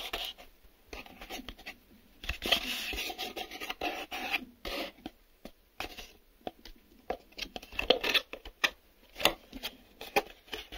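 Fingernails scratch and tap the inside and outside walls of a small, empty, hollow cardboard box with a brown corrugated interior and a glossy printed exterior. Bursts of dry, bright, papery scratching alternate with quick, sharp taps that die away almost at once, with very little low end.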